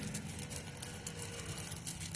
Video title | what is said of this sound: Bike chain deep cleaning tip | Is not the kicking links kicking each other. It's just the hissing.